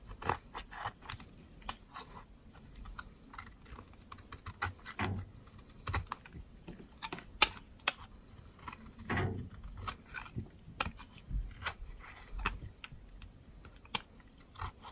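A metal utility knife blade scrapes the surface of a thinned, solid white bar of dry soap held in the fingers, leaving the bar flat at the end. It produces a quiet, irregular series of short, crisp scraping clicks with bright, dry edges and almost no ring.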